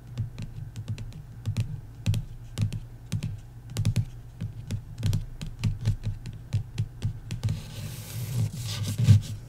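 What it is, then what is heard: Paperback book. Long nails tap rapidly on the card cover of a paperback book lying flat on a wooden table, making a fast run of short, dull, low-pitched clicks with almost no ring. Near the end, a brighter, scratchy hiss rises under the taps.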